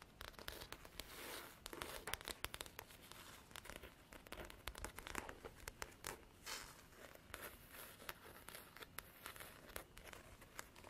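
Long black artificial nails tap and scratch a large, flat faux leather covered folder, a black leather-textured hard-cover diary with gold lettering, while it is held. Quick dry clicks mix with bright, papery scratching and crinkling rustle in a dense, steady stream. Each tap stops almost instantly with no ring.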